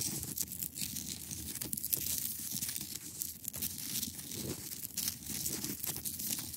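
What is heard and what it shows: Long acrylic nails scratch across a large solid clear ice block, producing a continuous dry, bright rasping and crinkling texture. Short strokes follow one another closely with little ring, and a faint low rumble runs underneath.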